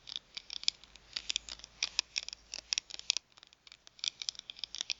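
Long nails tap and scratch the surface of a thin plastic gift card, first held and then lying on a mat. About twenty quick, bright clicks and scratches with no low end come in irregular bursts, each dying away almost at once, with a short quiet gap just past three seconds.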